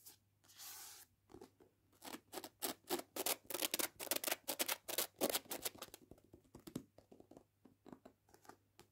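A paperback novel with a glossy card cover lies on a table while fingernails tap on its page edges and back cover, and fingertips scratch the front cover. A brief soft scraping hiss opens the clip, followed by a quick, irregular run of crisp, bright clicks that grow louder and denser in the middle. The clicks then thin out into quieter, dry taps with almost no ring.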